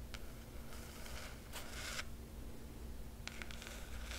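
Long nails scratch the black cloth cover of a large hardcover book and trace its silver foil emblem. Short, bright rasping strokes come in bursts over a steady low hum.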